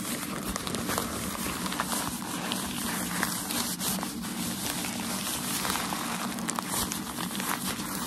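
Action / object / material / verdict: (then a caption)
scrape / tissue packaging paper / paper / none. A folded bundle of white shoe packaging tissue paper is held in both hands while nails scratch it and fingers rub and crinkle it. The result is a steady, dense crinkling and scratching texture with bright, crackly detail over a constant low background.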